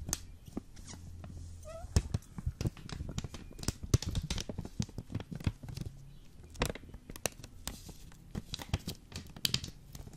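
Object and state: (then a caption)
Foil vacuum-packed coffee brick tapped and scratched. Fingertips and nails rapidly tap and scratch a full, hard-packed, hand-sized Jacobs Krönung ground coffee brick in a green plastic/foil vacuum pack. The result is a dense run of sharp, dry clicks with no ring, bright crinkling from the foil, and a low thuddy body underneath.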